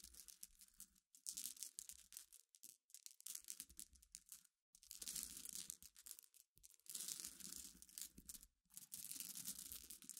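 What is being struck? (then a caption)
Pile of small glass pebbles. Long iridescent nails scratch and rub across a pile of small clear solid glass pebbles resting on black cloth. The result is bright, gritty clicking and scraping that comes in uneven bursts separated by brief pauses, with no ringing after each stroke.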